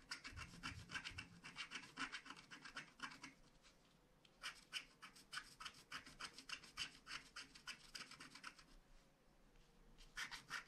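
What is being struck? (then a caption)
Scratch-art card with black coating, scratched with a wooden stylus. A wooden stylus scratches the black coating off a flat paper scratch-art card, clearing the castle towers and cloud. Quick, bright scratching strokes come at about three to four per second in bursts, with brief quieter pauses near 4 and 9 seconds.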